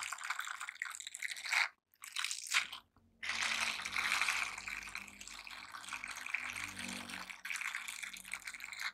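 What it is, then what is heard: Silicone scrubber gloves. A pair of silicone cleaning gloves with nub and bristle textures is worn on both hands, and the fingers of one glove stroke and rub across the bristled palm of the other. The result is a bright, hissy scratching and brushing sound with brief pauses near the start, then steady rubbing to the end.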